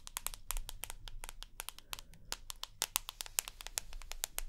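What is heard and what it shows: Long nails rapidly tap and scratch the glass screen and side edge of a rose gold iPhone with an aluminium frame. The result is a quick, irregular run of sharp, bright clicks with almost no ring, over a faint low rumble.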